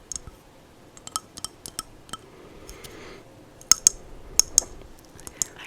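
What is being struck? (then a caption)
Abalone shell bowl. An iridescent abalone shell bowl holding sage is tapped slowly. A series of short, bright, high-pitched clicks land at uneven intervals, each dying away almost instantly with no ring. Quiet pauses and a faint soft rustle fill the gaps between taps.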